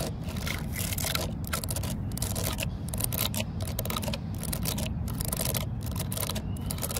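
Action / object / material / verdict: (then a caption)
scrape / weathered wooden post / wood / none. Long fingernails scratch into the vertical cracks of a solid, grey, weathered wooden post and tap on its surface. The result is a dense run of dry, bright scraping rasps and quick taps over a steady low rumble.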